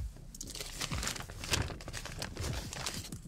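A large, thin printed tracing-paper blueprint sheet is lifted off a lit table, held up in both hands, and flexed and shaken. It gives a steady run of dry, bright crinkling and crackling, with sharper snaps around the middle over a soft low rustle from the handling.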